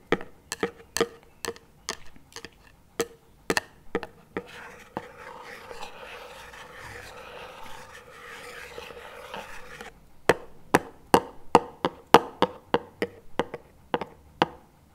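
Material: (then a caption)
Plastic. Two wooden chopsticks held across the lid of a small plastic chocolate spread tub lying on its side tap it about 28 times in short, dry, hollow knocks with a tone near 470 Hz. A stretch of steady scraping over the lid fills the middle of the clip, and the crisp tapping then resumes.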